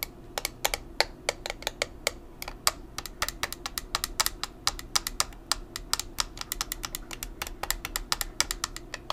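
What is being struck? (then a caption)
Plastic makeup compact. Long nails quickly tap a small square black plastic makeup compact with a clear lid. A rapid, uneven run of sharp, bright plastic clicks dies away almost instantly, like fast typing, over a low steady hum.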